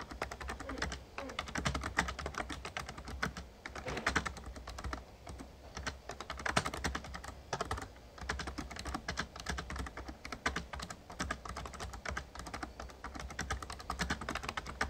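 Fingertips of both hands type rapidly on an RGB-backlit plastic Razer Ornata Chroma membrane gaming keyboard with a hollow casing. The result is a continuous stream of quick, dry, clicky key taps that die away almost instantly, over a steady low hum.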